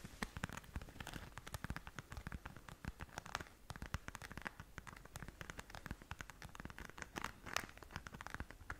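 Long nails scratch across the surface of a flat pink glitter-covered zip pouch held in both hands. A quiet, steady stream of dry scratching and crackling ticks runs throughout, with many short, sharp, bright clicks over a soft low thump.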